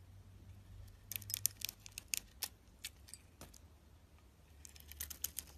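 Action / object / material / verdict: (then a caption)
scrape / bar of soap cut with a blade / soap / none. A box-cutter blade slices thick shavings off a hand-held soap bar with a glossy pink coating over a cream interior. Short, bright, crisp cuts and scraping crackles come in bursts over a faint low hum, each one dying out instantly.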